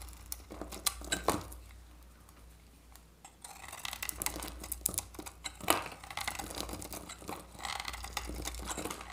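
A utility-knife blade scrapes shavings off a hand-sized, solid oval bar of dry soap, held in the hand, with a blue varnished coating over an orange core. Sharp, bright crackling scrapes and crisp snaps come over a faint low hum. A quieter stretch in the middle is followed by denser, steadier scraping with a few louder cracks.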